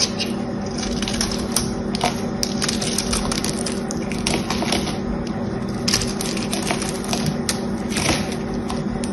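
A solid bar of soap with a silver-painted outer layer is held in the hand while a small blade scrapes the coating off in flakes, exposing green soap underneath. The sound is a steady run of dry, crisp scraping and crackling with many short bright ticks over a constant low hum.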